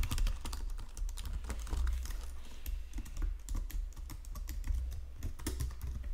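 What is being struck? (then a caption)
Plastic computer keyboard on a stone surface. Fingertips and nails type on a white plastic Logitech keyboard resting on marble. The sound is a steady, rapid stream of short, sharp key clicks with bright ticks over a low, dull thump. Each press stops almost at once.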